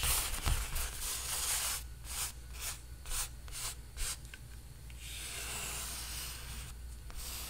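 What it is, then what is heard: Painted stretched canvas rubbed. A palm and fingertips rub across the surface of a large painted canvas stretched on a frame, making a dry, sanding-like scrape. A continuous rubbing hiss gives way to a run of short back-and-forth strokes, then settles into a steady bright swish over a faint low hum.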